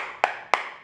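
A ceramic floor tile on concrete is tapped twice, giving two short, sharp, solid knocks with almost no ring. The tile sounds okay, meaning it is still bonded to the concrete.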